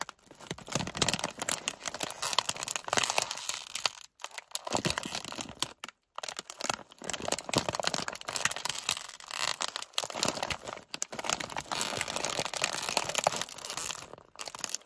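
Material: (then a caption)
Plastic foil. A medium, partly full Gardetto's plastic foil snack bag is squeezed and crinkled by fingers while its top is handled. The result is dense, bright crackling and rustling, strongest in the upper frequencies, that runs almost continuously with a few brief pauses.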